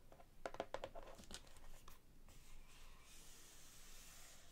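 Long nails tap rapidly on the cover and edges of a large hardcover cookbook with a glossy laminated cardboard cover held upright, giving a quick cluster of short, dry clicks with a midrange ring. The tapping fades after about two seconds into a quiet, bright hiss.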